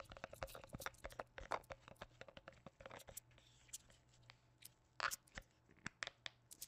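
A hollow white plastic lotion bottle with a blue cap and a plant print, held over the microphone, is tapped with black-gloved fingertips. Dense, rapid clicky taps come first, then sparser single knocks, each a dry crunchy tick centered near 1 kHz that dies away almost instantly. A faint low hum sits underneath.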